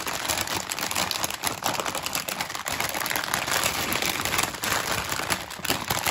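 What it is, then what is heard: Crinkling metallized plastic bag of chocolates. A full, large 1 kg metallized plastic film bag of Witor's Golden chocolates is held in both hands while fingertips and nails tap, squeeze and crinkle its surface, front and back. The result is a continuous, dense, bright crackling and rustling with quick taps, little low end, and no pauses.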